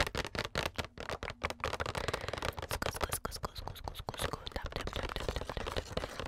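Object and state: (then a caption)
Cardboard box scratched and tapped. Long nails scratch and tap the surface of a flat, printed cardboard makeup advent calendar box with numbered doors, held up close to a microphone. Rapid, dry scratching alternates with crisp, short taps that die away almost instantly, in a dense, continuous texture.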